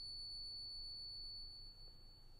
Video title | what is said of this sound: The Silver and Gold I'm Buying NOW! (Check out my new Gold to Silver Ratio) | It just goes on and on and on.